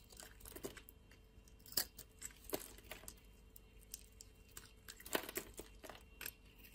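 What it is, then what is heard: Soap bar being scraped. A utility blade scrapes thin curls and strips off a hand-sized, solid blue soap bar held in the hand. Irregular, crisp scraping and crunching bursts stand out against a quiet background, several sharper and louder than the rest. The bright, crackly texture fades quickly after each cut.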